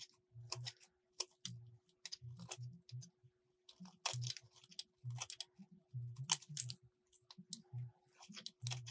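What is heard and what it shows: A metal utility blade carves and scrapes a solid light blue soap bar in a quick series of short cuts. Each stroke gives a crisp, bright scraping crunch over soft low thuds, separated by brief pauses, with a faint steady hum underneath.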